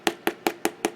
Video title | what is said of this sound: Home sweet home journal flip through | it makes it very solid as you can hear when i knock on it um because there's cardstock on top